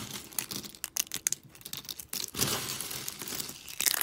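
Thin, brittle shards of dry soap in pink, teal and green are snapped and crumbled between fingers with long pink nails. The result is a run of sharp, dry snaps and crisp crunching, with a denser, continuous crackle in the second half. The sound is bright and papery with almost no low end.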